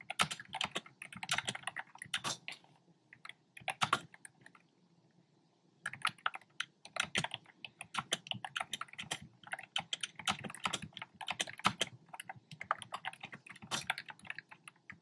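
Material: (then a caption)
Plastic. Fingertips type on a black plastic typewriter-style keyboard with round pastel plastic keycaps, giving rapid, bright, clicky taps with almost no ring. Typing runs in bursts, with a brief pause just before the 6-second mark before it resumes steadily to the end.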